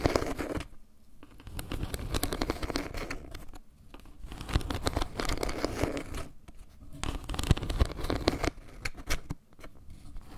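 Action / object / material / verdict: scrape / solid wood-slice trivet / wood / none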